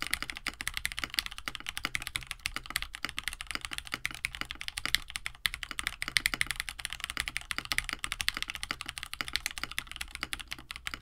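A compact 65% KBD67 Lite mechanical keyboard, with a plastic case, an FR4 plate, lubed KineticLabs Hippo linear switches and blue and white PBT keycaps, sits on a desk mat while both hands type steadily with their fingertips. A continuous stream of short, bright key clacks runs throughout, each press dying away almost instantly, with a faint low thump underneath.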